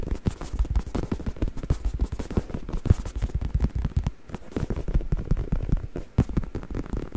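A black, soft and padded faux leather travel neck pillow, stuffed and held upright in one hand in front of the microphone, is scratched and tapped by the fingertips of the other hand. The result is a rapid, continuous run of dull, low thumps and soft scratchy rustles with almost no ring, mostly deep in tone with little brightness.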